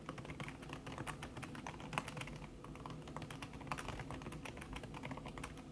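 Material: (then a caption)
Silicone. Fast typing with fingertips and long red-painted nails on a thin backlit aluminium keyboard whose plastic keys sit under a red silicone skin. It produces a steady, dense stream of soft, muffled taps and clicks with short, dry decay and a dull low-heavy body. Occasional brighter nail ticks stand out from the even flow.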